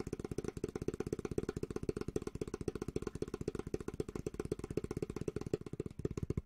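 A flat, solid, medium-sized bamboo cutting board is held upright in both hands while fingertips tap and rub its surface. The result is a fast, steady stream of short, dull, low-pitched taps with almost no ring, continuing throughout.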